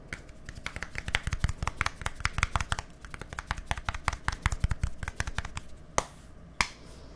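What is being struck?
Plastic deodorant stick.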